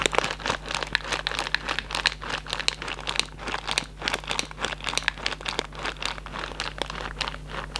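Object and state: Cardboard candy box with plastic window.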